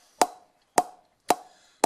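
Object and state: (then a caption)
Cricket bat with good ping. A Laver and Wood Mid-High Mega Reserve willow cricket bat is tapped four times, each sharp knock ringing with a clear pitched tone around 730 Hz. The bat gives a metallic, ringing sound with really good ping, though slightly less high-pitched than it could be.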